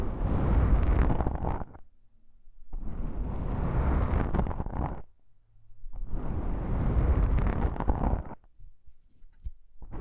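A fingertip with a long pink nail presses and taps on a pair of small, soft, porous black foam windscreens on a stereo microphone. This makes three long bursts of dense, muffled, boomy rumbling and scratching. Short near-silent pauses separate the bursts.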